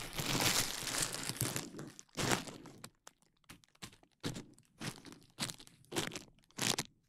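A large sheet of clear plastic bubble wrap is draped over the microphone while fingertips and nails pinch and pop the bubbles at the side. A dense, bright crinkling rustle fills the opening two seconds, then gives way to a series of sharp, crunchy pops separated by near-silent gaps.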